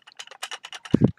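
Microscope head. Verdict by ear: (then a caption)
Loose. A second-hand microscope head is shaken to check for anything loose inside. Quick, light clicking rattles are heard, ending in a couple of heavier, lower knocks. Something inside is clearly loose and rattling.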